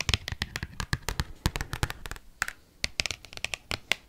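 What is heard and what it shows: An oversized cardboard Pokemon trading card is flexed while handled and is rapidly tapped and scratched with paperclips. A fast run of sharp, dry clicks and scrapes carries bright, papery highs over low thumps of the flexing card. There is a brief lull around the middle before the quick tapping resumes.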